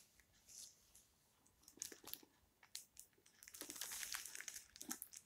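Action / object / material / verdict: scrape / hardcover book with paper dust jacket / paper / none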